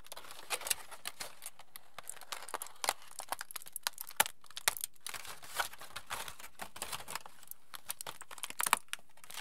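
A crumpled sheet of aluminium foil is held in both hands, pulled open and crinkled with the fingers. Dense, dry crackles and sharp bright snaps come in quick irregular bursts over a quiet background, each crackle stopping almost instantly.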